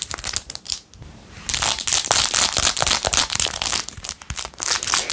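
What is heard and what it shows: Long acrylic nails scratch fast over a blue-jeweled, glitter plastic phone case covered in rhinestones. Bright, dense clicking and crinkling scrapes come in quick uneven bursts, with a brief quieter pause near the start before the scratching turns steady and intense.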